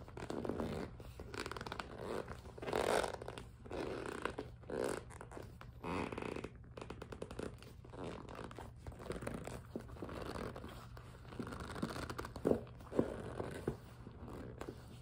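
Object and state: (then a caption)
Vinyl and PVC cosmetic case. A medium, hollow two-tier cosmetic case made of pink vinyl and clear PVC is held in both hands and tapped and gripped on its surface with long nails. The result is a dense run of soft crinkly scratching and squeaky rubbing with quick light taps, mostly low-mid and muffled, with a few sharper clicks near the end.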